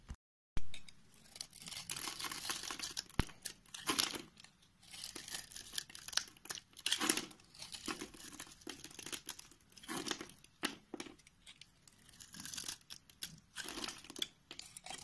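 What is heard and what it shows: A utility knife with a green handle shaves and cuts thin slices off the end of a solid white rectangular bar of soap held in the hand, producing white flakes. Repeated crisp, bright scraping and crinkly tearing strokes come in uneven bursts, with quiet gaps between cuts.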